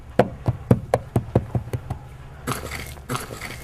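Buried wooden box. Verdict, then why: Hollow. Nine dull, low knocks sound in a steady rhythm on a buried wooden box, with a hollow, woody thud and almost no ring. Two bursts of broadband scraping noise follow. The knocks reveal the buried object to be hollow wood, a wooden box whose lid is then lifted.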